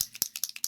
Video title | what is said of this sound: Review on 1 inch mold for wax seals | little metal balls in there to um shake it up